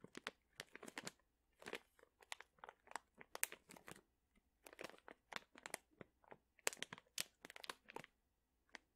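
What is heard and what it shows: A medium sealed, printed plastic pouch full of dried chili peppers is squeezed with fingertips so the contents crunch. Quiet, bright crinkling and crackling come in quick irregular bursts with short pauses between them. Each crunch stops dead with no ring and almost no low end.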